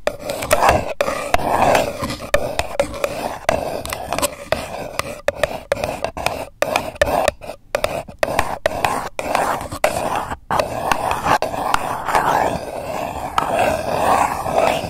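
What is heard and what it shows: A single empty purple paper cup, hollow and thin-walled and resting on a microphone, is scratched with long acrylic nails. A dense, continuous rasping scratch fills the clip with a hollow midrange tone around 950 Hz, broken by brief silent gaps and uneven bursts of louder scraping.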